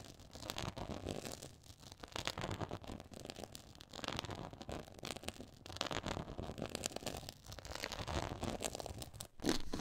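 Long nails scratch across a black quilted faux leather board with a pyramid texture, producing a dense, continuous rasping and crackling that spreads from low to bright tones. The scratching swells and eases in waves, drops out briefly near the end, then returns at its loudest as the nails work close in.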